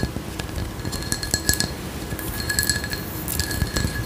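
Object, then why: Textured glass candle jar filled with wax. Long acrylic nails scratch and tap the geometric raised pattern of a hand-sized frosted glass candle jar with a white lid, apparently filled with wax. Quick glassy clinks ring with a steady tone near 1.7 kHz and bright upper sparkle over a low, rumbly scratching texture.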